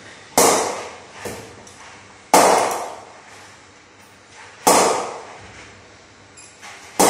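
An SG Players Extreme willow cricket bat is knocked in by repeatedly striking a hanging ball with its face. Four sharp, woody knocks ring out about two seconds apart, each decaying over roughly half a second, with fainter taps between them.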